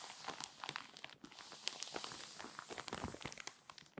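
Long white-painted nails and fingertips rub and press the pages of an open, thin and flexible glossy paper celebrity magazine lying flat on a table, creasing the spine and turning the crinkly pages. The result is a dense run of bright, dry crinkles and sharp crackling snaps over a steady papery hiss, with almost no low end.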